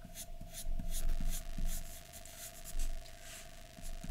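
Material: Paper.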